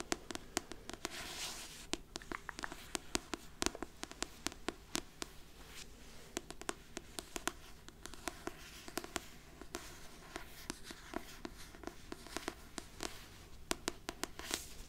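A trade paperback copy of the novel "My Best Friend's Exorcism," with a solid, glossy card cover, is held up in one hand while long painted nails tap and scratch across the cover. Dozens of sharp, dry clicks with almost no ring stand out over a soft, steady bright scratching hiss, all quiet and close.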